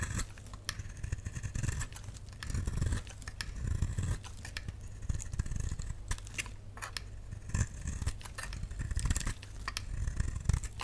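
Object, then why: Bar of soap cut with a knife blade. A solid, dry, pink rectangular bar of soap is held in the hand and cut and shaved with a utility knife blade, peeling off curls. Repeated crisp scraping strokes come in bursts, with short bright clicks over a dull low rumble.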